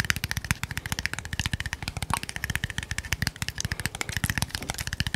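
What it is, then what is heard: Small glass bottle tapped rapidly. A small, hollow red glass bottle with a silver cap is held in one hand and tapped very rapidly with the fingernails of the other hand. About 36 quick, dry clicks follow each other over five seconds, each with a low thump and a bright, glassy tick that dies away almost at once.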